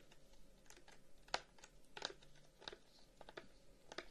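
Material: Wood.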